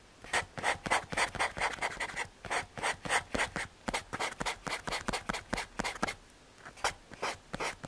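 A paper blending stump is rubbed over a graphite drawing on a small, flat, solid brown MDF or hardboard panel. Short, dry, bright scratchy strokes repeat about four times a second at an uneven rhythm, with a brief pause near the end before the rubbing resumes.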